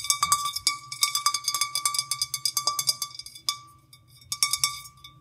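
A clear, printed, hollow and empty drinking glass is held and then set down on dried petals while long nails and fingertips tap its sides and rim. The result is a quick, irregular run of bright, glassy clinks with a short, high ring, a brief lull near the middle and a final flurry of taps.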